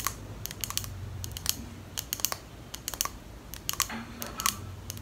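Long nails tap rapidly on the glass sides of a small clear glass perfume bottle with a pink plastic cap. About nineteen sharp, bright clicks come in uneven bursts over five seconds, dying away almost instantly with no ringing. The result sounds much like typing on a keyboard over a faint low hum.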